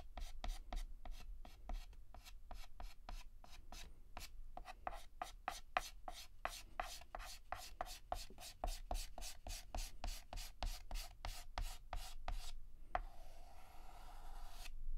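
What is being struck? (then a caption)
Chalk stick on a slate chalkboard. Fingertips hold a yellow chalk stick and shade a petal on a flat, solid black chalkboard with rapid, short scratches. A steady train of quick, dry scrapes with a mid-pitched tone is heard, ending in a longer, smoother stroke.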